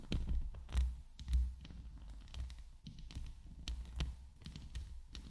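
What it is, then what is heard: Metal mesh microphone grille. Long nails scratch and tap the top and sides of a hollow steel mesh microphone head. The sound is a steady stream of soft, deep thuds and rumbling scrapes, with short crisp clicks and a few louder taps standing out.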